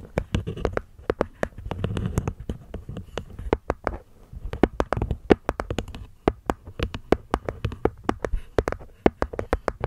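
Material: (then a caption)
Wood, cork. Long nails tap and scratch the cork top and rim of a small, hollow hexagonal wooden box. Quick, dry, clicky taps come in uneven bursts, each dying away almost at once over a soft, hollow low thump. Brief stretches of scratching rustle between them.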